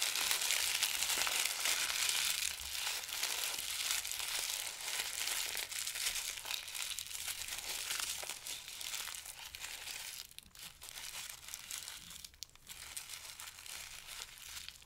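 A small ball of thin, pale paper is held between both hands and squeezed and crumpled by the fingers over a pile of paper. It makes a dense, continuous, bright crinkling and crackling that eases slightly in the second half.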